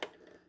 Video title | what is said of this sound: Eastern White Pine bark growing medium. | when you hear that settling noise that basically means that it's ground down